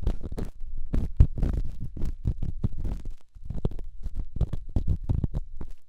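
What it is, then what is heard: Rough stone rubbed on a silicone ear. A small, solid, rough rock held in the fingertips is scratched and rubbed inside a silicone microphone ear. The result is a rapid series of deep, muffled scraping and thumping bursts, almost all low rumble with a faint bright hiss on each stroke.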